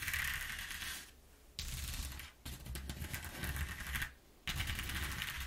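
Long nails drag across the exposed ridges of a flat corrugated cardboard sheet, producing dense, ratchet-like clicking over a low rumble with bright crackle on top. The scratching comes in four bursts separated by short quiet gaps.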